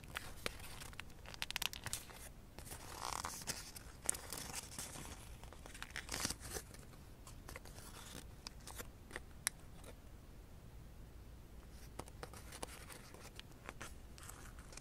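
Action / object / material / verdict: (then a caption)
scrape / folded origami paper crane / paper / none. A thin blue folded origami paper crane is handled by fingers that pull and open its wings and rub the layered paper. This makes soft, crinkly rustling with quick bright crackles and faint tearing-like scrapes. The paper sound comes in uneven bursts and fades toward the end.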